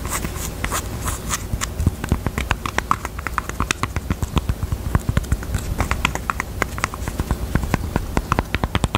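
Long nails rapidly tap and scratch the sides of a small, hollow, hot-pink velvet-covered heart jewelry box held in both hands. Dense, short, muffled taps with a low hollow body and brief bright clicks sit over a steady soft scratchy rustle, each tap dying away almost instantly.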